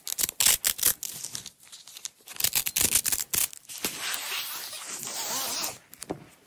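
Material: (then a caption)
Nylon. Long nails peel and pull a strip from a blue nylon hook-and-loop tape roll apart. The result is a series of short, bright rasping rips, then one longer, steady tearing pull near the end, with faint ticks after it.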